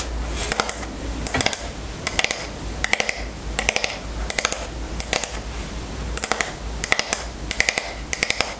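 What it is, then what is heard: Wooden hairbrush tapped with nails. Long fingernails tap and scratch the back of a striped wooden paddle hairbrush held in the hand. Short bursts of quick, bright, clicky taps repeat throughout, with soft scratchy rustling between them over a steady low hum.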